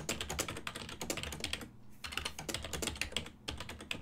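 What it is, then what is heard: Plastic computer keyboard. Fingertips type rapidly on a full-size silver-and-black plastic desktop keyboard with hollow key switches, producing dense, bright, clacky key taps. The taps briefly pause near the two-second mark and again around three and a half seconds, with a faint steady low hum underneath.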